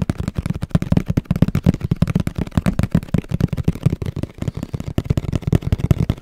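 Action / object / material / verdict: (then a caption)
tap / cardboard box / cardboard / none. Fingertips and nails tap quickly on the spec-printed side of a hollow black and orange printed cardboard camera box held in front of the mic. The result is a rapid, uneven run of dull, boomy thumps centered low around 170 Hz, with almost no bright content and each tap dying away almost instantly.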